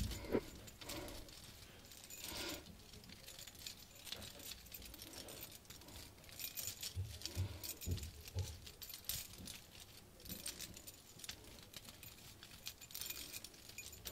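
Long nails tap and scratch across the metal mesh surface and gem studs of a round decorated compact mirror held in the hand, giving a quiet, continuous jangly, bright clicking and rustling with a few low thumps.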